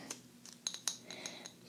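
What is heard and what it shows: A ceramic egg planter, said to hold soil and pansy seeds, is handled and tapped about eight times. Each tap gives a quiet, bright, glass-like clink with a high ring that fades almost at once.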